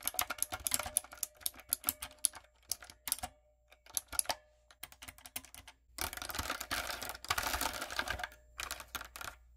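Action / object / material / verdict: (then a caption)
tap / mechanical keyboard with round plastic keycaps / plastic / none. A typewriter-style backlit mechanical keyboard with round brown plastic keycaps on a dark frame is typed on with fingertips and long coffin nails. Bright, crisp key taps come in scattered clicks at first, then quicken into dense, rapid bursts of clacking. Each tap is short and dry with almost no ring.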